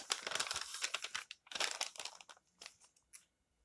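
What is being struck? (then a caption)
Glossy paper magazine pages. Fingertips rub, smooth and turn the thin pages of an open glossy paper magazine lying flat on a table. Dense, bright crinkling rustles come in two busy bursts, then thin out into a few softer, scattered brushes that fade to quiet.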